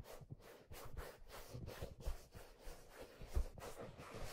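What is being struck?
Leather fedora hat.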